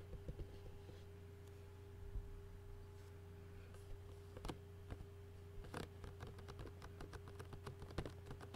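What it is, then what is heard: Plastic food container lid. Fingertips tap rapidly on a clear plastic takeout food container lid with food residue, and fingernails scratch across it. The result is quiet, sharp clicks and light scratches over a steady low hum and a faint constant tone.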